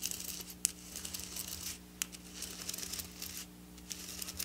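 Long black nails scratch and tap among the sequins of a flat silver sequin fabric lying on a table. The sound is a quiet, bright, crisp rustle and scrape of sequins, broken by a few sharp, clicking taps. A faint, steady low hum runs underneath.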